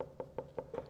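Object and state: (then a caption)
Water-filled herbaceous leaf stalk, not woody. Six quick, dull knocks on the tree-like leaf stalk of an Amorphophallus titanum, each a short, hollow thud around 520 Hz that dies away almost at once. The stalk sounds like a knocked watermelon because it holds only water inside, showing it is a water-filled herb rather than a woody tree.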